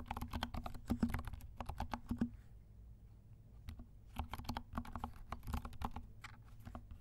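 Fingertips of both hands type on a compact 68-key mechanical keyboard with dark plastic keycaps and silent switches. Soft, muted, low-toned key taps come in quick bursts, pause with a few scattered taps in the middle, then pick up again.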